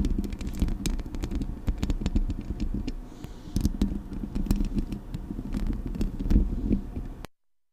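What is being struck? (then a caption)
Metal mesh microphone grille. Long acrylic nails scratch and tap the metal mesh grille of a Blue Yeti microphone. The result is a steady, bass-heavy scraping rumble scattered with quick sharp clicks. It stops abruptly just after seven seconds.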